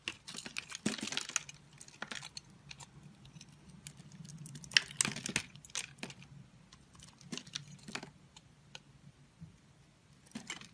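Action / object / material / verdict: scrape / bar of soap cut with a knife / soap / none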